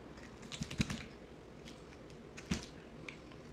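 A solid yellow bar of soap, held in the hand, is scraped and sliced with a box cutter blade, played at double speed. A quick cluster of crisp, dry cutting clicks and scrapes comes early, followed by a sharper cut and a lighter one later, each fading almost instantly over a faint background hiss.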